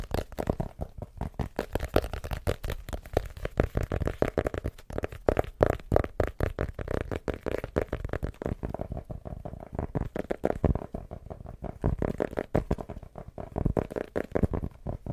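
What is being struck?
Hardcover notebook.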